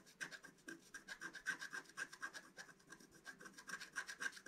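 A wooden stylus scratches a flower shape into the centre of a flat, black-coated scratch-art card. It makes a quiet, rapid run of short, dry rasping strokes, about four per second in an uneven rhythm, each with a bright hiss and a faint squeaky tone near 1.6 kHz.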